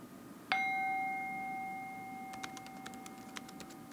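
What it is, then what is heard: Brass singing bowl. A small, hollow, empty hammered brass singing bowl resting on an open palm is struck once on its outer rim with a wooden mallet held in the other hand. It gives a bright metallic ding with steady tones around 750 Hz and 2.1 kHz that ring on and slowly fade. Faint, light clicking sounds follow over the lingering tone.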